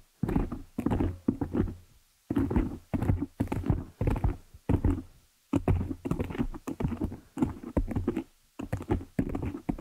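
Long nail tips tap quickly on the top of a black foam windscreen covering a desktop microphone. The result is dense bursts of soft, muffled thumps with a boomy low end and almost no brightness, separated by brief pauses.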